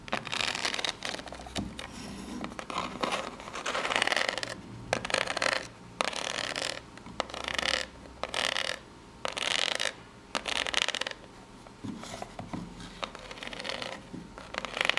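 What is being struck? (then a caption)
Corrugated cardboard box. Long natural nails scratch the ribbed surface of a small, hollow corrugated cardboard box held in both hands. The result is a dry, bright, rasping scratch that comes in quick bursts, with short quiet gaps between strokes in the middle and steadier scratching at the start and end.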